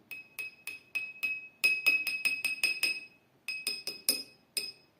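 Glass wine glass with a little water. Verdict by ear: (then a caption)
Nearly empty. A wine glass holding only the smallest amount of water is tapped repeatedly, giving bright glassy clinks that ring at a high pitch around 2.5 kHz with a short ring after each strike. The taps come in an uneven series of 17 hits with a brief pause, the first of several glasses filled to different water levels.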